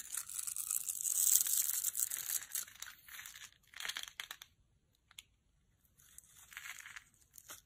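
A utility knife scores a grid into a solid, translucent amber bar of dry soap held in the palm and shaves off small cubes. The blade makes bright, crisp scratching and crackly carving sounds in dense bursts, loudest at the start, then trailing into softer, scattered scrapes separated by brief silences.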